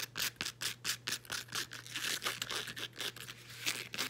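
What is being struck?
Woven elastic fabric band.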